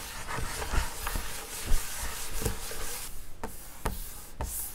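Hands and fingers rub across the flat wood-grain top of a school desk, a large solid panel. Quiet, steady brushing and scraping is heard, broken by three soft, dull knocks that die away almost instantly.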